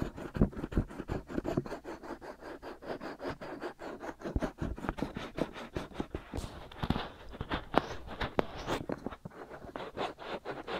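Fingertips with short nails scratch the outer surfaces of the soft, white silicone ears of a binaural microphone. It produces a steady stream of rapid, dull scratching strokes, weighted toward the low and middle range with little brightness. A few sharper, louder scrapes stand out in the second half.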